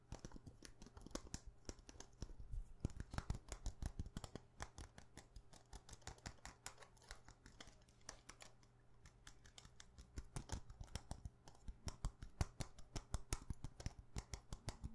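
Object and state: Glass perfume bottle.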